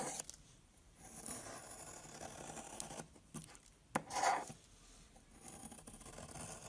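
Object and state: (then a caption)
Soap bar being carved. A box-cutter blade makes repeated shallow cuts into a long, solid brown soap bar, scraping off flakes. Soft, dry scraping and shaving sounds run quietly throughout, with a sharp click near the four-second mark followed by a louder, brighter scrape.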